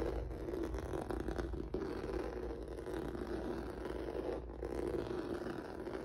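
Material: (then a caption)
Rubber. Fingertips and nails scratch across a flat black rubber or vinyl mat with a textured noodle surface. The result is a steady, dense scratching and crackling texture centered in the low midrange, with some low rumble underneath and little high-frequency content. The loudness stays even throughout, with brief soft dips.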